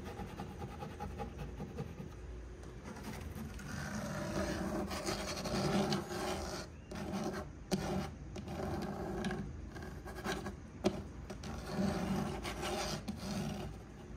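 Fingernails scratch and rub along the solid dark brown wood-grain laminate divider panel of a cube storage shelf. The result is a continuous dry rasping and rubbing texture that swells and fades in uneven strokes, with a low, steady body.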